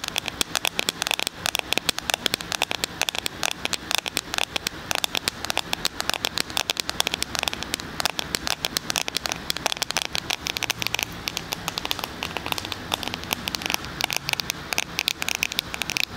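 A small, solid black glass and plastic smartphone, held in both hands in front of a binaural mic, is tapped with fingertips and nails. A fast, continuous patter of crisp, bright clicks runs throughout with very short decay, sounding almost like rain on a surface.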